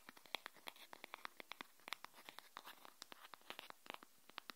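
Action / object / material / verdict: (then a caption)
tap / cardboard spatula / cardboard / none. A cardboard spatula is tapped quickly and irregularly, giving a quiet stream of short, dry, papery clicks. The taps are bright with little low end and stop instantly with no ring.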